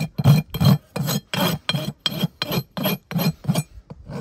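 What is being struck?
Horse hoof wall (keratin) with steel rasp.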